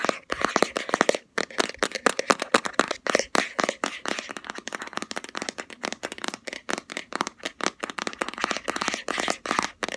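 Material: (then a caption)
Plastic. A round, palm-sized black plastic Body Shop Hemp jar with a green label lid is held in both hands and tapped fast with long fingernails on the lid and sides. The result is a rapid, uneven stream of dry, clicky plastic taps that die away almost instantly, with a bright mid-range tone and almost no low end.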